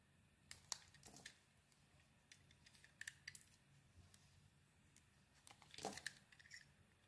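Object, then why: Bar of soap under a knife blade. A utility knife blade scrapes and carves a handheld solid oval bar of soap with a grey heart-patterned coating over a blue interior. The sound is a quiet series of crisp, bright scraping ticks and short shaving rasps that die away instantly. A denser burst of scraping comes near the end.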